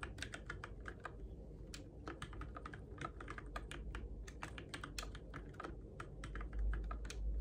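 Fingertips tap the plastic keycaps of a Keychron K6 compact RGB-backlit mechanical keyboard in the dark, producing a steady, irregular stream of short, bright clicks over a low, rumbling background hum.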